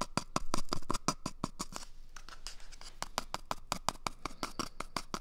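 A small, empty, hollow brown cardboard toilet paper tube is held close to the mic and scratched with fingertips and nails. Quick, dry scratching strokes come in a rapid, even rhythm, pausing briefly into a soft rustle midway before resuming. Each stroke is short and crisp with almost no ring, over a low hollow body.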